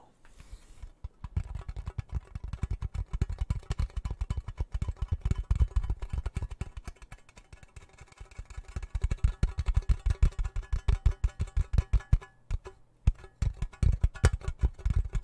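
Fingertips and nails tap and scratch the hollow lid of a small round gold metal tin held in both hands close to the mic. The result is rapid streams of short, dull, low-pitched knocks with brief pauses between bursts, the tapping quieter around the middle and stronger toward the end.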